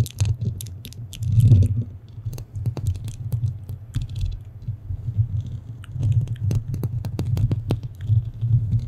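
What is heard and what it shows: Long painted fingernails of both hands scratch and tap the rounded metal mesh grille of a black studio microphone. The result is a dense stream of sharp clicks and bright scratchy ticks over a deep, throbbing low rumble that swells and fades.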